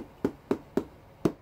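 A two-year-aged, 8.3 kg wheel of Darsan goat cheese made from whole goat's milk is tapped four times, each tap a short, dull, drum-like thump with little ring. The sound marks a well-matured cheese with a soft, elastic structure.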